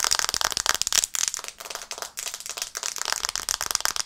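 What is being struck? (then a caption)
Glass smartphone screen tapped with fingernails. Long painted nails tap rapidly on the glass screen of a black smartphone held upright in both hands. The result is a dense, continuous stream of short, dry, bright clicks with no low end, centered around 1.25 kHz, with a few brief pauses between bursts.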